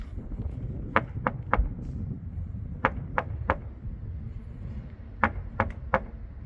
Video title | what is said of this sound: 일본 목조주택, 건물 벽이 플라스틱이라면 믿겠습니까 (신작가) | 텅텅 소리가 납니다. 아니 텅 비어 있는 소리예요.